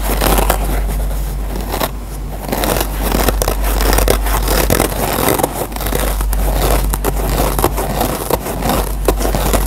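Fingers squeeze a dry rectangular yellow foam sponge with a green nylon abrasive scouring pad while short nails scratch and pick at the pad fibers. The result is a steady stream of dense, close scratching and crackling with sharp bright clicks over a low, constant rumble.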